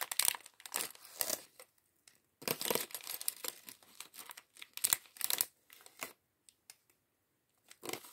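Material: Plastic.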